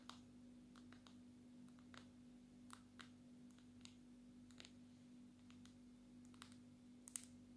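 A small, solid black smartphone with a glossy glass back is held in one hand and tapped on the back with the long natural nails of the other hand. Quiet, sharp, bright clicks come at irregular intervals and stop almost instantly, over a steady low hum.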